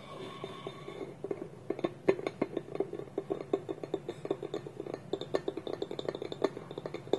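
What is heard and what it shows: Fingernails tap and scratch a small, hollow, polished wooden bowl with a wooden lid held against it, and the lid may click against the rim. Quick, dry knocks with a hollow woody tone around 390 Hz die away almost instantly. They come in a fast, uneven patter over a softer scratching rasp.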